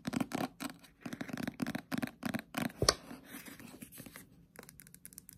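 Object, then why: Paperback paper book. Long pointed nails tap quickly on a Death Note Black Edition paperback manga, a thick, solid paper book with a dark glossy cover, first while it is held and then while it lies flat. Irregular bursts of dry, bright clicking and scratchy tapping rise to one sharper, louder tap. A softer rustling stretch follows, and then light, crisp clicks return.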